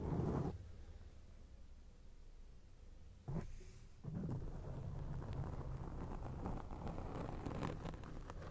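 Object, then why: Foam microphone windscreen. Long acrylic nails scratch a round grey foam windscreen on a microphone, making a low, muffled, rumbling scrape. A loud burst opens the clip, then a quiet stretch, a brief flare just after three seconds, and from about four seconds on a dense, continuous scratching with occasional brighter rasps that lasts to the end.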